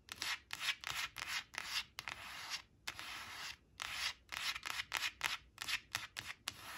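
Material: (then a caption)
Laminated cardboard. Long acrylic nails trace the number on a thin, flat laminated cardstock flash card reading "7 seven" as it lies on a fabric tablecloth, rubbing and scratching its glossy surface. The result is a quick run of bright, dry, hissing scrapes with almost no low end, broken by a couple of longer sustained rubs and short gaps between strokes.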